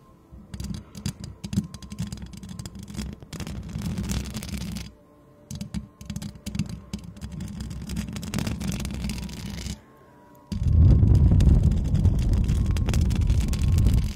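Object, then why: Metal mesh microphone grille. Long decorated nails on both hands scratch and tap the hollow metal mesh grille of a white microphone, making dense, rapid rustling and tapping with a deep, boomy low rumble. The sound pauses briefly twice, then returns much louder and heavier in the last few seconds.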